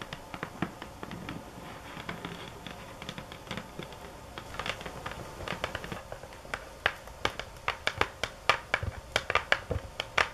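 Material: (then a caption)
Cardboard. Long acrylic nails tap the top of a medium rectangular, hollow cardboard box covered in a sunflower print, lying flat on a table. Quick, soft, dry clicks come in a dense run at first, then give way to louder, sharper taps spaced farther apart, each dying away almost at once.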